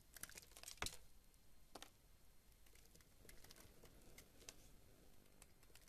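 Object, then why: Bar of soap shaved with a knife blade. A metal knife blade shaves and carves a solid white rectangular bar of soap held in the palm, sending flakes falling off. Soft, dry crisp scrapes and light clicks sound at a low level, with one sharper, louder cut just before the first second. Quieter, steady shaving and flaking continue to the end.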